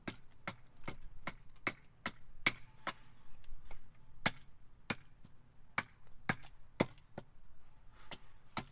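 A carving axe repeatedly chops a solid, split cherry wood spoon blank held upright on a chopping block to shape its underside. A steady series of sharp, dry chops is heard, each a short woody crack with a bright edge over a low thud that dies away almost at once. Faint rustling fills the gaps between strikes.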